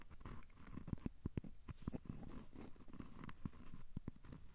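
A thin, solid, square cork coaster held in the hands is scratched with short fingernails. Quiet, dull scratching and soft tapping come in quick, irregular bursts, mostly low in tone with no ringing after each stroke.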